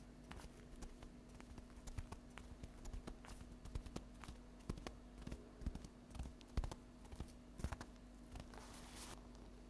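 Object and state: Stack of paper napkins tapped with fingernails.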